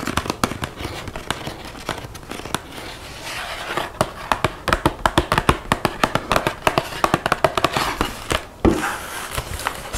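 A small, flat Lindt 85% cocoa chocolate bar box made of thin printed cardboard, likely empty, is held and then laid on a wooden table while long white-painted fingernails tap and scratch it. Quick, irregular, dry clicking taps run through the clip, mixed with soft crinkling and scratchy hiss, and grow louder and denser toward the middle.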